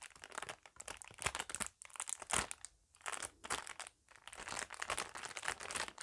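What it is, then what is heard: Plastic bag crinkling. A thin, empty, flexible clear plastic packaging bag is held in both hands and crinkled and rubbed with fingertips and long nails. It makes dense, bright crackling and crunching bursts with almost no low end, broken by brief quiet pauses.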